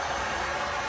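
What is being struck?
Nothing is struck.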